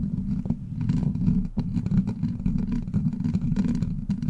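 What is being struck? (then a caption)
Steel mesh microphone grille scratched with plastic nails. Long black plastic claw nails scratch and tap across a hollow steel mesh microphone grille. The result is a steady, dense stream of muffled, low scratching and rumbling, with quick soft taps and faint brighter crackles over it.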